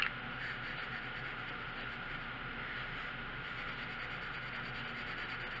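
A red colored pencil tip scratches and rubs steadily across a thin paper coloring book page on a wooden table while shading a stop sign. The result is a quiet, continuous, even scratchy hiss with a bright papery grain and no breaks.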